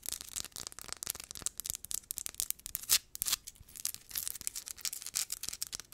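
Long acrylic nails scratch and rub fast across a palm-sized, solid, rough crystal geode rock. The result is a dense run of quick, dry, bright scratching strokes with almost no low end, each one cutting off sharply, with a couple of louder rasps near the middle.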